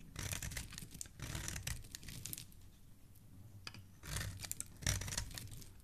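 A black blade scrapes repeatedly across a small, solid yellow bar of soap that is already partly carved, peeling off long curls and crumbs. The clip is a series of crisp, dry, tearing scrapes in short bursts, with bright rasping texture over a soft, low thud of the blade against the bar. Quiet pauses fall between strokes, and a sharper scrape comes near the end.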